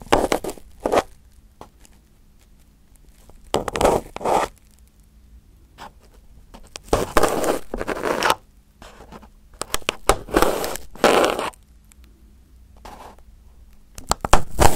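A pin held in the fingertips scratches and pokes crumpled aluminum foil wrapped over a round microphone head. Short bursts of loud, crinkly scraping and crackling alternate with quiet pauses over a faint low hum.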